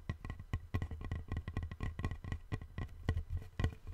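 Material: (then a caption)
Wood. A long, thin, flat, light-colored solid wooden board is held in both hands and tapped along its surface with fingertips and nails. Quick, dry taps follow one another in a steady patter, each with a dull low thump and a faint bright click that dies away almost at once.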